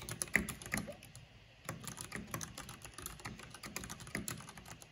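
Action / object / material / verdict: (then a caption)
tap / plastic mechanical keyboard keys / plastic / none. Fingertips and long painted nails type fast on a black plastic mechanical keyboard with a purple backlight. A rapid, steady stream of short, bright clicks and clacks follows, with a few louder taps at the start and a brief quieter lull around the first and a half seconds. Each keystroke dies away almost instantly.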